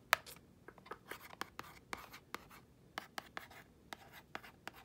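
Long nails scratch and tap the face and edges of a small, thin, hollow printed cardboard box of acne treatment patches. About twelve quick, dry, bright clicks stand out over soft scratching, each dying away almost at once.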